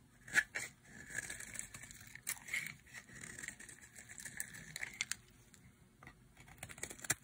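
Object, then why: Bar of soap cut with a knife blade. A utility knife blade carves a solid, light green bar of dry soap held in the hand, shaving it into flakes. Quiet, crisp scraping and crackling strokes with bright, dry edges come in uneven bursts, and sharp little snaps stand out here and there.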